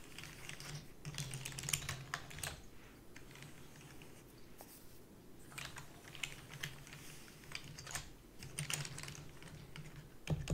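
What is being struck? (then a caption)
Plastic membrane computer keyboard. Rapid typing with long fingernails and fingertips on a full-size black plastic membrane keyboard with a purple backlight and a hollow body, set in front of a fluffy white mat. Quick bursts of short, bright clicks and taps come with a low hollow thud under each press, and there are brief quieter pauses between flurries.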